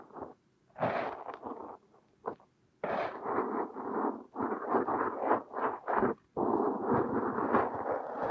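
A thin metal hook tool scrapes and digs crumbly purple kinetic sand out of a mound packed over a silicone nose. Soft, gritty scraping and crumbling bursts in the mid range come in uneven strokes separated by brief silent pauses, with a longer continuous stretch of digging toward the end.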